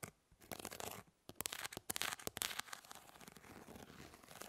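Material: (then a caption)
Plastic. Long nails scratch across the plastic grid mesh of a fly swatter. After a few short rasps, there is a run of sharp, bright scratching bursts, which then settles into a steady, quieter raspy scraping. The sound is thin and high with very little low end.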